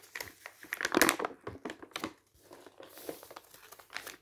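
A thin newsprint paper booklet lies open on a table while its pages are turned by fingers and then smoothed flat with the palm. Dry crinkling and rustling comes in quick bursts, loudest near the start, then eases into softer brushing swishes with a bright papery hiss.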